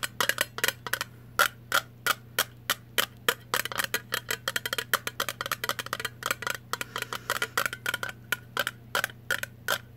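A blue Vlasic metal jar lid is held on edge while long nails tap and scratch its rim. Rapid, dry, bright clicks and ticks come in quick irregular bursts, each dying away almost at once, with soft scratchy scraping between them over a faint steady low hum.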